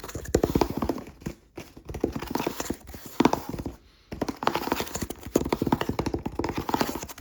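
A cardboard cereal box with a barcode is tapped rapidly close to the microphone, giving quick, dry, hollow knocks with a clip-clop feel. The taps come in dense bursts separated by brief pauses.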